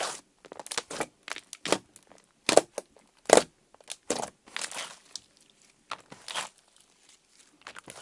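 Fingertips poke holes in orange slime on a table, press it, and pull it up into strings. Irregular, bright, crackly pops and sticky crunching bursts come in quick clusters separated by short quiet gaps.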